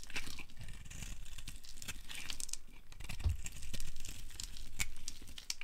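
A solid light blue oval bar of dry soap, held in the hand, is shaved into flakes by a metal blade. The scraping and carving make a continuous dry, crumbly crunch, with a low rumble under a bright, crackly texture and many quick strokes that run together.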